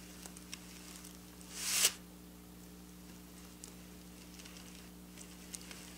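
Long black nails slowly scratch and trace along the rows of draped silver sequin fabric. A bright, swelling rasp builds and cuts off sharply near the two-second mark, followed by scattered faint, crisp ticks over a steady low hum.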